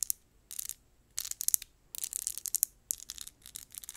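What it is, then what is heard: Cardboard cosmetic box scratched and tapped. Long nails scratch and tap a small, hollow, rectangular matte pink cardboard lip gloss box in quick, aggressive bursts. The sound is bright, dry and rasping, with almost no low end and a couple of sharp clicking taps standing out between short pauses.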